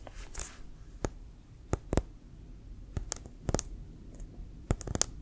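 A brown leather American football, hollow and inflated, is held sideways in both hands while fingertips and nails tap quickly on it. About nine short, sharp clicking taps sound, each bright and dying away almost instantly over a low, steady background rumble.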